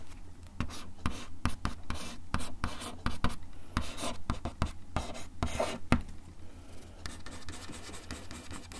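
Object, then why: Wooden desk top scratched with a bamboo ear pick. The tip of a bamboo ear pick scratches a flat, solid, brown wood-finish desk top in a rapid series of short, dry scraping strokes. Each stroke is a sharp, bright rasp over a steady low hum. The strokes thin out and soften toward the end.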